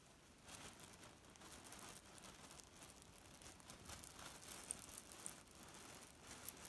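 Fingertips press, squeeze and crumple a small grey leaf-print cotton pillow filled with loose cherry pits as it lies on a bed. The pits grind and rattle against each other in a steady, soft, crinkly rustle. A few sharper, brighter clicks stand out near the end.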